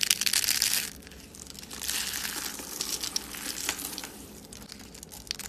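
Dry purple soap rose rolls and flakes are squeezed and crushed in a bare hand, and brittle shards break off. A dense, bright crackling and crunching is loudest in the first second, then continues in softer, irregular crinkling bursts with almost no low end.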